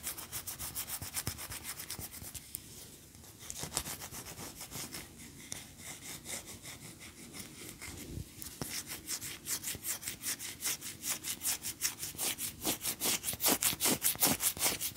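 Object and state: Wax pillar candle.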